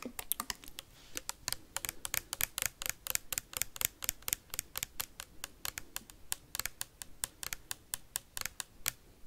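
Metal paperclips rapidly tap and scratch a clear plastic sanitizer bottle with a white cap and liquid inside. About 45 sharp, bright clicks come in quick succession, each dying away almost instantly, over a faint scratchy hiss.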